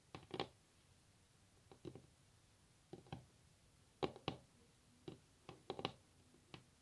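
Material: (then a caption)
Wood. Long natural nail tips tap on a solid varnished wooden tabletop. The taps come as short, crisp clicks in small irregular clusters with quiet pauses between them, each dying away almost instantly. The whole clip stays quiet.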